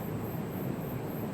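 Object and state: Nothing is struck.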